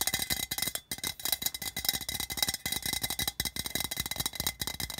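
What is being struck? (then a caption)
Thin metal tin can. Fingers tap and scratch along the side seam and body of a hollow, patterned, printed tin can resting on carpet. The result is a fast, dense run of short, bright metallic clicks and scrapes with a thin ring, each dying away almost at once.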